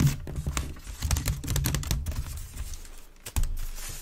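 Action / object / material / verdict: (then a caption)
scrape / woven wicker waste bin / wicker / none. A hand with long red nails scratches quickly across the weave of an empty, hollow grey wicker waste bin, giving a run of dry, brittle scrapes and clicks over a low hollow body resonance. Near the end the bin is tilted, and one sharp louder scrape stands out.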